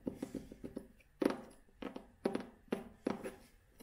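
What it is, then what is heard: Cloth-covered hardcover book. Long fingernails tap and scratch the cloth cover of a vintage hardcover book held in both hands. A quick run of light, dry taps gives way to fuller, brushy scratching strokes across the cloth, each stopping short with almost no ring.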